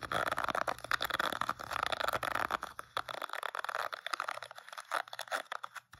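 Fingertips and short nails scratch and flick across the dense plastic bristles of a hand-sized oval paddle hairbrush, with a teal plastic rim and a black rubber cushion, held face-on. The result is a rapid, dense stream of dry, crackling clicks and ticks, brightest in the upper midrange. A faint low hum underneath drops out about halfway through.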